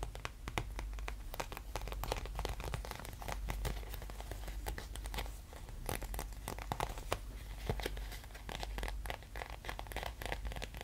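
A small, thin, clear, flexible plastic sheet is held in both hands while fingertips and nails tap, scratch and crinkle it. The result is a dense run of quick, sharp crackles and clicks that reach up into the high range, over a steady low rumble. Each sound dies away almost instantly, and the level rises and falls only slightly across the clip.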